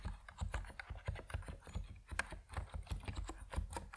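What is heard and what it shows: Fingertips type steadily on an Epomaker NiZ Plum Atom 68, a compact plastic mechanical keyboard with white and purple PBT keycaps. The result is a quick, uneven stream of short, dull key taps with a deep, muted low-end body and very little high-end brightness.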